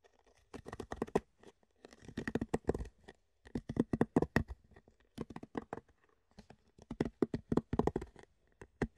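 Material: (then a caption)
Plastic. Fingertips tap and scratch the ridged top of an empty, hollow rectangular clear plastic food container held in both hands. Quick, dry clicks and scrapes come in clustered bursts separated by short pauses, with a hollow, boxy resonance. Each tap dies away almost instantly.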